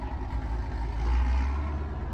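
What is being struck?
Nothing is struck.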